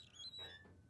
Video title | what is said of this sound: WILL E GUS: BMW Z3 1997 | tem uma coisa batendo na placa do freio